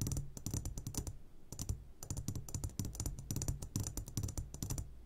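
Fingertips tap rapidly on the sides of an upside-down clear glass jar full of hard candies. The result is quick, bright clicking strokes with short ringing over a low hum near 100 Hz, in bursts that pause briefly around 1.3 and 3.7 seconds.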